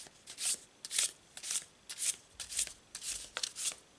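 A full deck of laminated paper tarot cards, held in both hands above a cloth-covered table, is overhand-shuffled with the fingers so the cards slide and rub against each other. It produces a quiet, uneven series of short, bright, papery swishes, about two per second, made almost entirely of high hiss with no low end. Each swish stops quickly, with near-silence between bursts.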